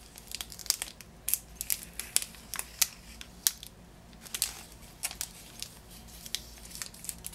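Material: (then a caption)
Cellophane. Fingers and nails tap and scratch the green cellophane wrapping of a lemon-shaped Positano lemon package resting on a table. Irregular, quick, bright crinkles and crackling snaps come in uneven bursts over a faint low hum, each crackle dying away almost instantly.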